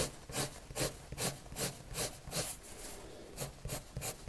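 A red colored pencil rubs back-and-forth strokes across a white paper sheet lying flat. Each stroke makes a soft, dry scratching swish with bright, airy highs, repeating at a fairly steady pace of about two to three strokes per second.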